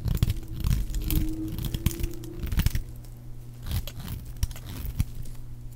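A metal blade shaves and cuts a solid, dry, palm-sized white oval bar of soap, knocking off crumbly white flakes. The clip is a dense run of dry, crunchy scraping and tearing sounds with short, crisp bursts and a low, heavy body. There is almost no ring after each cut.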